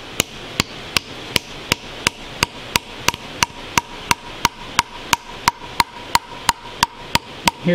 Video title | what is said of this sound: Working out Problems on the K&T mill. Overhead Ram are stuck | the sound changes there goes right there